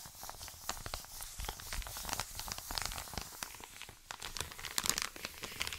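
An Amazon kraft-paper padded mailer lying flat is scratched and tapped with short painted nails and rubbed with fingertips. The result is a dense, bright crinkling and scratching texture with sharp papery clicks and brief crunches that die away almost instantly.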